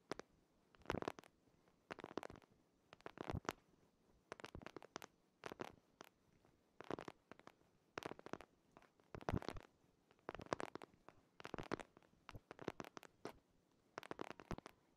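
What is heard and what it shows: Fingertips and nails scratch and tap the cover of a purple hardcover paper planner held behind a microphone. Short, quiet bursts of dry, crackly scratching and tapping come in quick clusters separated by brief silences, with no ring after each contact.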